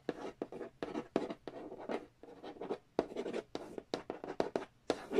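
A fingernail traces and scratches across the glossy printed cardboard lid of a large, flat, hollow Monopoly Nintendo edition board game box. Quick, dry scratching strokes come in short bursts separated by brief pauses, each with a papery midrange body and a bright hiss on top. The lid gives only a faint hollow tone that dies away almost instantly.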